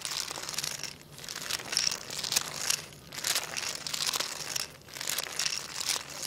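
A jointed wooden segmented crocodile toy is swished across a tile floor by fingertips, its solid wooden segments rattling together. The sound is a bright, dry clatter of quick clicks in repeated sweeps with short pauses between them.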